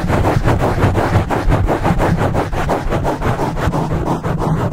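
Fingertips and short nails rapidly scratch a dark black foam windscreen on a microphone. The result is a dense, continuous, bass-heavy rustling rumble with a quick, loosely even rhythm of strokes, about three per second, and very little bright content.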